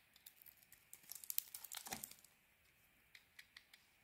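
A hand-sized solid bar of soap with a red coating and white core, held in one hand with long painted nails, is shaved with a metal utility-knife blade, the carved strips piling up as flakes. Quiet, bright, crinkly scrapes build into a dense crackling run of cuts in the first half, peaking in one longer rasping stroke. Then a few sparse soft ticks follow.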